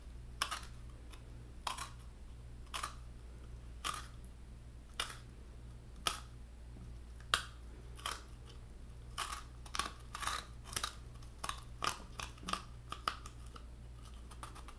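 Fingertips and nails tap quickly on the white flesh lining the hollow shell of a halved coconut, giving short, dry clicks with a bright edge and a woody tone around 1.2 kHz. The taps start spaced out and grow faster and more clustered toward the end, over a steady low hum.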